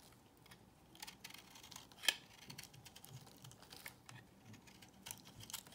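A solid beige bar of soap held in hand is shaved with a box cutter blade. The result is a quiet run of crisp, bright scraping and crackling strokes, with one sharper tick standing out about two seconds in.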